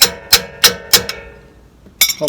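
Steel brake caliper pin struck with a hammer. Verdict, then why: Seated. A steel brake caliper pin is hammered into place on the front brake of a 1994 Ford F53. Eight sharp, bright metallic strikes ring briefly, with a pause before the last few. The pin ends fully seated, giving a solid sound because its bottom edge hits the bottom frame.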